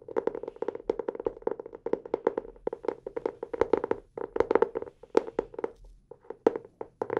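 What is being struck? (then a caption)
Hardcover notebook cover. A blue hardcover notebook is held upright in both hands while fingertips tap on its cover. The result is a fast, irregular stream of dry, short taps with a hollow mid-range tone, coming in quick bursts separated by brief pauses.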